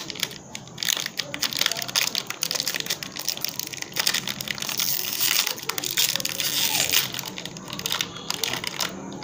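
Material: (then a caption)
Metallized plastic. A small Peak Freans Chocolate Sandwich snack pack, biscuits inside a thin foil-lined metallized plastic wrapper, is held close, crinkled, then torn open and peeled apart with the fingertips of both hands. Dense, bright crinkling and sharp crackles run throughout, almost entirely high-pitched with very little low end, and each crackle dies away instantly.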